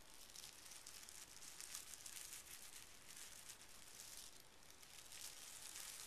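Fingertips of both hands press and rub across a small folded square of pink tissue paper resting on carpet. A steady, soft, bright crinkling rustle continues throughout, swelling and easing slightly without clear separate strokes.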